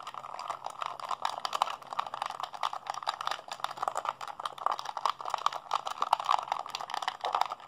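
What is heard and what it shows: Fingertips and thumbs rapidly mash the buttons of a hollow blue plastic PlayStation 3 handheld controller held in both hands. The result is a dense, continuous stream of quick, dry plastic clicks and rattles, centered in the midrange with a little bright edge. Each click is short and dies away at once.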